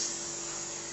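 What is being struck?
Nothing is struck.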